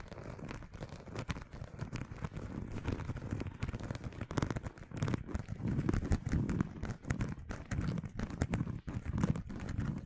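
Fingernails tap and scratch the surface of a red pebbled faux leather zip wallet with metal studs, held in front of the microphone. A dense, steady stream of quick, dry taps and rough scratching fills the clip, with a soft, low, muffled body and little high sparkle.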